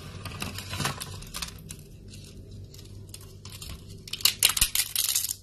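Fingertips grab, crumble and break thin, brittle strips and flakes of dry yellow soap shavings on a wooden board. Bright, crisp crackling and crunching come in scattered bursts, softer through the middle. A louder flurry of sharp crunches closes the clip.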